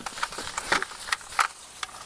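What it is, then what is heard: Ripe Job's tears seeds falling into a bucket. A stem of Job's tears is shaken inside a bucket, and the ripe seeds come loose and drop into it. Several short, sharp clicks and ticks land at irregular intervals, bright and dry with almost no ring, over a faint background hiss.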